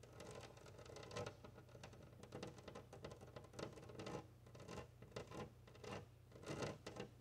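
Long nails scratch a large flat glass window pane while fingertips of both hands tap and rub across it. The result is a dense, scratchy patter of quick taps and squeaky rubbing strokes that swell and fade in bursts over a steady low hum.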